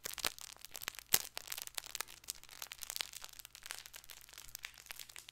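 A stuffed fabric plush baby ball toy, its red dotted side showing, is gripped and scratched with fingernails. The result is a quiet, dense run of bright, crinkly scratches and fast crackling ticks, with one sharper crack standing out early on. Under it sits a faint low hum.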